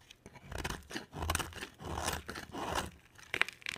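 A palm-sized solid white bar of soap is scraped and carved with a box cutter blade. Dry, crunchy scraping strokes come in uneven bursts of a second or less, with bright, crisp edges, occasional soft low thumps, and short pauses between cuts.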